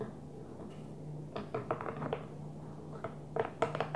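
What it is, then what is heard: Small plastic container tapped with nails. Long nails tap the closed blue lid of a small, hollow, translucent plastic container, giving eleven short, hollow clicks in two loose bursts with a mid-range tone. Each tap dies away almost at once over a faint, steady low hum.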